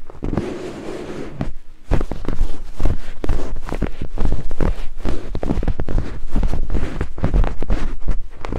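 Two thin wooden picks held in the fingertips scrape rapidly across white silicone binaural microphone ears. The result is a dense, boomy rush of low thumps and scratchy rubbing: softer for the first two seconds, then louder and nearly continuous to the end.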